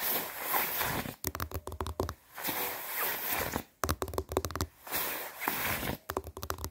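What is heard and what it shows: Hands rub and scratch along the padded sleeves of a white quilted nylon down puffer jacket while the arms are crossed. Smooth, airy swishing rubs alternate with bursts of fast, crisp scratching. Each burst is a run of sharp, dry scrapes with a bright, rustling texture, and the pattern repeats three times.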